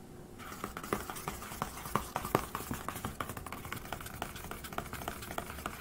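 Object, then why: Metal laptop lid. Fingertips and nails tap and scratch across the flat, thin, metal-looking lid of a closed silver HP laptop resting over its hollow body. A quick, irregular run of short, dry taps, each with a faint hollow ring, sits over a soft scratchy hiss, and a few taps land louder than the rest.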